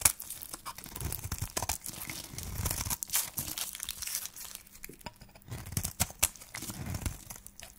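A solid cream-coloured dry soap bar with a pink wrapper rim is shaved into thin curls with a flat metal blade held by hand. Dry, bright scraping and crisp crumbly crackles come in quick, uneven strokes, with a soft low rumble beneath.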